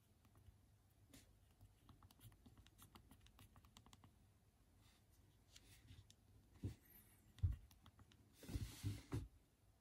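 A BlackBerry phone with small hard plastic keys is held in both hands while the thumbs press the keys repeatedly to type. Quiet, quick clicky taps run steadily through the clip. Near the end, a few louder thuds and a brief burst of bright, rustling noise break in.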